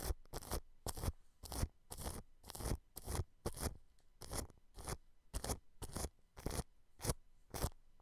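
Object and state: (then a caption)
Cling film over a microphone, brushed. The bristle tip of a paintbrush brushes along the bottom edge of a round white microphone head with a metal mesh grille, which is wrapped in thin transparent plastic cling film. Repeated crinkly, scratchy strokes come in quick bursts, with a soft, muffled low rumble under each brush.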